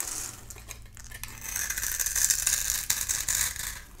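A palm-sized, solid oval bar of dry soap with a dark shell and cream core is held in the hand and scraped in thin layers with a metal utility knife blade, so flakes fall off. The scraping is a dry, crisp, bright rasping with quick, uneven strokes that build and fade over about four seconds.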